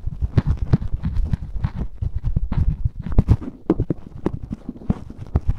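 A black cotton swab rubs and scratches inside the ear canal of a life-size white silicone ear microphone, which is solid and soft-rubbery. Close, muffled scraping and quick low thumps come in a dense, uneven stream, heavy in the low end with almost no brightness. Each contact dies away at once.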